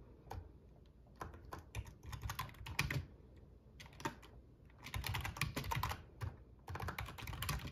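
Fingertips of both hands type on a full-size black plastic RGB membrane gaming keyboard with a metal top plate. Bursts of quick, bright clacking keystrokes alternate with short pauses, each press landing with a dull low thump beneath the sharp click.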